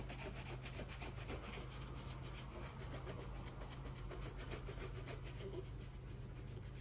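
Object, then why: Leather oxford shoe brushed with a bristle shoe brush. A gloved hand brushes a white-bristled shoe brush vigorously back and forth across the polished upper of a brown leather cap-toe oxford, held hollow with a shoe tree inside. Rapid, uneven strokes make a steady, bright, bristly scrubbing swish over a constant low hum.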